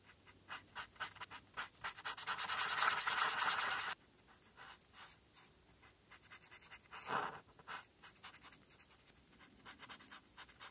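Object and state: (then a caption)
Marker coloring on a paper sheet. A marker nib scrubs and rubs across a flat paper coloring sheet, held by a hand with long red nails, filling in a black hat and stripes. Quick, bright, scratchy strokes build into a dense continuous scrubbing for about two seconds, then drop to lighter, softer strokes with one louder swipe midway.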